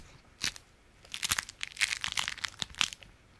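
A folded stack of beeswax-coated fabric food wrap is held in the hands and scratched and squeezed with the fingers and nails. It gives a series of short, bright, crisp crunching and crinkling bursts with almost no low end, coming in quick clusters after a quiet start.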